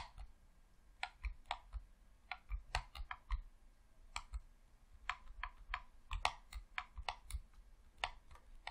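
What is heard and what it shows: Thumbs rapidly click the sticks and face buttons of a hollow red plastic Xbox controller. The result is a quiet, uneven run of about twenty short, dry clicks, each with a bright tick over a soft low thump and almost no ring.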